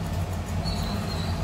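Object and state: Nothing is struck.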